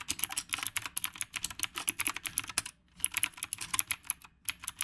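Fingertips type on the round plastic keycaps of a retro typewriter-style mechanical keyboard. About thirty quick, bright, sharp clicks clatter in a steady flurry, with a brief pause just before the three-second mark before the typing resumes.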